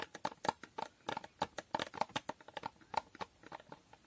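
Fingernails tap and scratch on the surface of a small, hollow cardboard box with a holographic foil finish. About 22 quick, dry taps sound in a brisk, uneven rhythm, each with a faint hollow tone near 880 Hz and a bright, crisp edge. Soft scratching fills the gaps between them.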